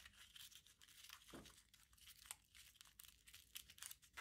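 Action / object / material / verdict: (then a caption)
scrape / small crumpled aluminium foil ball / aluminium foil / none. A small crumpled aluminium foil ball is squeezed and rubbed between the fingertips, giving a quiet, steady run of bright crinkling and crackling. There are sharp little crackles along the way and one brief lower swish partway through.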